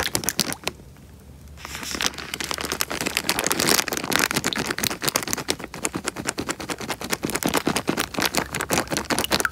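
A small clear plastic bag full of water is crinkled and squeezed by fingertips close to the microphone. Dense, bright crackling and crinkling snaps follow one another rapidly, with a brief quieter pause near the start before the crinkling builds into a steady stream of sharp, short-lived clicks.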